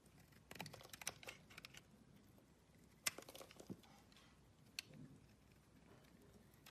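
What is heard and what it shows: A metal blade scrapes flakes off an oval, solid blue bar of soap held in the palm. Quiet, bright, crisp crackling scrapes come in short bursts with a few sharper ticks, separated by near-silent pauses.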